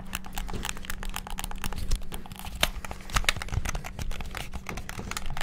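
Fingertips rapidly press the buttons of a hollow white and black plastic PS5-style gamepad. A dense stream of short, dry plastic clicks and ticks runs throughout, with a few louder taps standing out and a faint steady low hum underneath.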